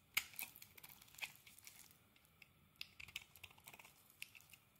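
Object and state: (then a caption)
Soap bar being carved. A metal blade carves chunks from a solid soap bar, green inside with a yellow crust, held in the hand. It makes an irregular run of short, crisp scraping and crackling cuts, bright and high with almost no low end, each dying away at once. Quiet gaps fall between the bursts.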